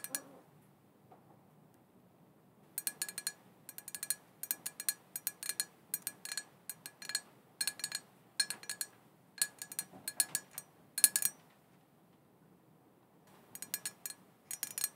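Long painted fingernails tap and lightly scratch a small, hollow, black glossy glass cauldron printed "Witches Broth", open with no lid and apparently empty. Quick bursts of bright, high clinking taps come in clusters, separated by short quiet pauses. Each tap dies away almost instantly with very little ring.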